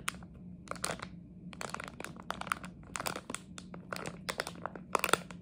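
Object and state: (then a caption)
Plastic candy bag, crinkled and scratched. A small red and white Harry Potter jelly bean plastic bag, hollow and partly filled, is crinkled and scratched with long nails. Quick, bright crinkling and scratchy bursts come in irregular clusters over a faint steady low hum. Each burst stops almost at once, with no ring.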